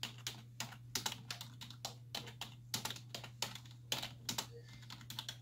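Long white-tipped nails and fingertips type continuously on a black plastic desktop keyboard with hollow key caps, resting on a wooden desk. Bright, short clicky taps come in quick irregular bursts over a steady low hum.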